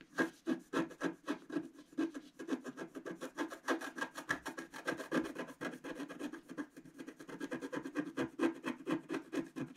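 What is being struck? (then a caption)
Coated scratch art paper card scraped with a wooden stylus. A wooden stylus rapidly scratches and scrapes away the black coating of a flat, solid scratch art card, about A4, with coloured foil paper underneath, lying on a table. Quick, dry rasping strokes repeat at a steady pace of about four per second, with a mid-range tone around 330 Hz and little low rumble.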